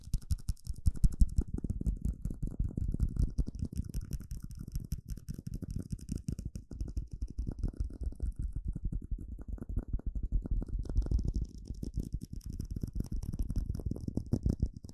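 A small, hollow, empty clear plastic cup is tapped rapidly with fingertips and nails for about fifteen seconds. The taps are fast, short and dull, with most of their weight in a low, boomy thump and a faint, bright click from the nails riding on top.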